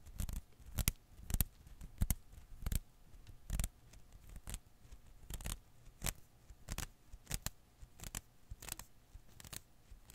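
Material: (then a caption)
Rubber. A single blue and green Koosh ball of thin rubber filaments rests in one palm while the fingertips of the other hand pinch and pluck its strands. This produces a steady series of short, dry, bright snapping and rustling bursts with a soft low thump under each, separated by quiet gaps and a faint steady hum.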